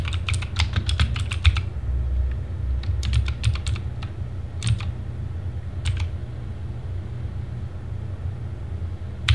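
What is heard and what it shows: A compact Sherman Mini TGT mechanical keyboard with backlit plastic keycaps is typed on by fingertips. Short, bright key clicks come in quick bursts at the start, then in scattered clusters with pauses, over a steady low hum.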